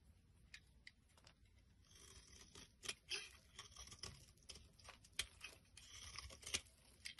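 A metal blade scrapes crumbly flakes off a solid white bar of soap held in the palm. The sound is a quiet, bright, dry scraping and crinkling, broken by sharp ticks and short tearing strokes.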